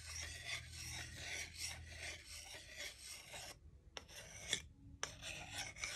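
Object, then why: Wooden salad spoon and fork. A solid wooden salad spoon and fork are rubbed against each other, making a bright, dry rasping scrape. The scraping runs steadily for over three seconds, breaks off, returns in a short burst, then pauses briefly before resuming to the end.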